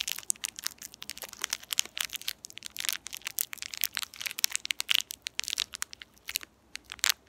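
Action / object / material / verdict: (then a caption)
scrape / metallized plastic candy wrapper / metallized plastic / none. A small, empty, shiny purple metallized plastic candy wrapper is pinched and crinkled at its ends between fingertips with long painted nails, then rubbed between both hands. It gives a dense run of sharp, bright crackles and crinkles with no low end. Each snap cuts off instantly, with a brief quiet gap near the end.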